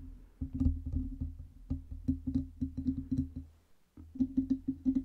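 Long red nails tap the lower metal body and base of a black Blue Yeti USB microphone on its metal stand, producing quick, dull knocks with a low resonant ring. The tapping runs in an uneven rhythm, pauses briefly near the four-second mark, then resumes in a tighter burst.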